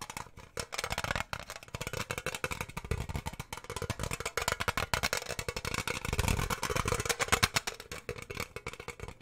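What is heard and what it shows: Fingernails scratch and tap the lid of a round, hollow blue metal tin held up close. The result is a steady, rapid stream of short, dry clicks and scratchy rasps with a soft low thud under the taps.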